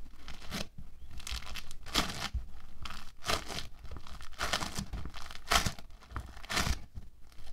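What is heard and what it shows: A hand-sized lump of orange foam bead modelling clay, made of small polystyrene beads in a binder, is squeezed, pressed and kneaded with fingertips and palms on a white table. Each squeeze gives a dense, crackling, crunchy burst, like tearing or crinkling, bright across the highs. The bursts come in a steady rhythm over a low, soft rumble.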